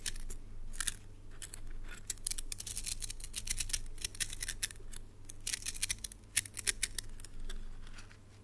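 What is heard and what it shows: A red plastic coil spring toy is collapsed in one hand, then stretched out with the fingertips. Its coils give off rapid, bright, dry clicks and rattles in irregular bursts over a steady low hum.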